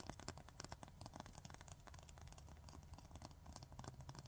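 A long, thin, solid 100/180 grit emery nail file is scratched and tapped rapidly with long fingernails. The quiet, dry scratches and clicks come in quick bursts with bright, crisp edges over a steady low rumble.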